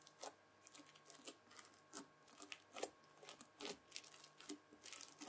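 A white plastic fork scratches through red bead-filled floam slime and folds it over. Quiet, bright, crunchy crackles and scrapes come in uneven bursts with very short decay, over a faint steady hum.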